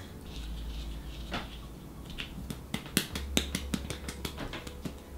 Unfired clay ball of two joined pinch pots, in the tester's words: can hear even hear that that's Hollow and that's what we want is you do not want this to explode in the kiln